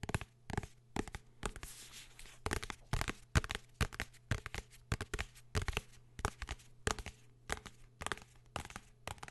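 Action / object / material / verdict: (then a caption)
tap / hardcover book / cardboard and paper / none. A blue hardcover book is tapped and scratched with fingers in a rapid, uneven series of short, dry taps. The taps alternate with brief bright scratching strokes, and there is a steady low hum underneath.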